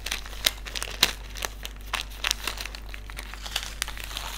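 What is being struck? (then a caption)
Small desiccant sachet with silica beads. Fingertips crinkle and rub a small white silica gel desiccant sachet filled with silica beads, then hold it up. Sharp, bright crinkles and crackles come in irregular bursts over a quiet rustle and a steady low hum, with each snap dying away almost instantly.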